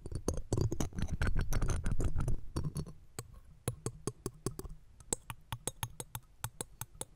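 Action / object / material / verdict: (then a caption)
scrape / steel wire-mesh microphone grille scratched and tapped with metal tweezers / steel wire / none. Metal tweezers and a pick scratch and tap the round steel wire-mesh grille of the left pencil condenser microphone. The first three seconds are dense, rustling scratches, then the sound turns into sharp, short taps at about four per second. The taps have a bright click on top of a heavy low thump and stop almost at once.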